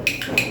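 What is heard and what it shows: A wooden toy is knocked during a classroom texture activity, giving two sharp, bright wood-block-like clicks with a ringing tone around 2.5 kHz. Each click decays quickly, and there is almost no low-frequency content.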